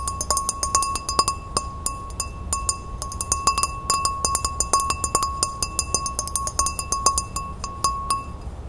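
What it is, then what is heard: Empty glass. A tall, empty, clear pilsner-style glass is held and tilted while long red-painted fingernails tap and scratch it. Quick, irregular taps give short glassy clinks that ring at about 1.1 kHz with bright overtones, over a soft scratching hiss between them.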